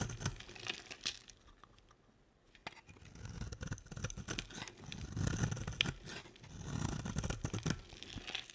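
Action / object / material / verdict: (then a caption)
scrape / bar of soap scraped with a knife blade / soap / none. A utility knife blade scrapes flakes off a solid, cream-colored, oval stamped bar of dry soap held in a hand with long nails. Quick, irregular crunchy scrapes and crinkling shavings come in bursts with a brief quiet pause near the start. The cuts are dry and crisp, with a low thud-like body and a bright, gritty edge.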